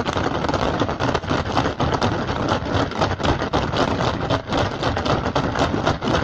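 Fingertips and short nails of both hands rapidly tap and scratch an upturned, hollow, empty woven rattan basket. The result is a dense, continuous crackle of quick, dry taps and bright scratching that holds a fairly steady level, with only brief dips.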